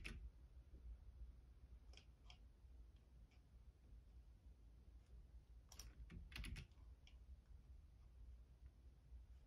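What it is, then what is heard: Plastic computer keyboard. Fingertips tap the keys on the left side of a black plastic Logitech keyboard. Soft, scattered clicks with bright edges come in small bursts, with a louder cluster near the end, over a steady low hum.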